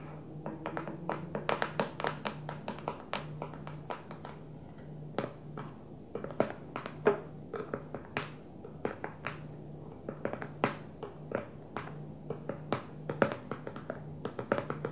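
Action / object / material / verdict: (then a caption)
tap / plastic food storage container with plastic lid / plastic / none. A small, square, hollow food storage container with a clear plastic lid and a blue plastic base rests on a table and is tapped on the lid with the long manicured fingernails of both hands. The result is a stream of quick, sharp, hollow clicking taps in irregular bursts, each dying away almost instantly over a faint steady low hum.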